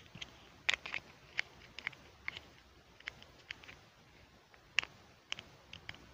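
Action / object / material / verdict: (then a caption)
tap / small plastic toy stool / plastic / none. A small, hollow, pink plastic toy stool is held in both hands while the fingertips snap its seat onto the base and handle it. Sharp, bright plastic clicks and light taps come in an uneven series, each dying away almost instantly over a faint, quiet background.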